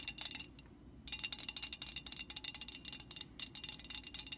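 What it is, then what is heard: Metal aerosol can tapped with fingernails. A hollow metal Static Guard aerosol can stands upright while its printed side is tapped with the long painted nails of both hands. Rapid, bright, tinny clicks come in quick bursts, with a brief pause near the start and another shortly before the end.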